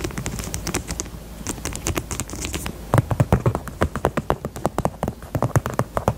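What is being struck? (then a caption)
Small faux leather purse. Long nails tap rapidly on a small, hollow pink faux leather heart purse held sideways. The taps are dull, low and hollow with a light clicky edge, and each dies away almost at once. A quicker, softer stretch of tapping gives way after about three seconds to louder, more distinct knocks.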